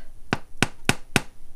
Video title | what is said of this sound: Foraging For Wild Garlic Bread & Soup 🍵🍞 (Easy To Follow Step By Step Recipe) | it sounds Hollow and that means it's ready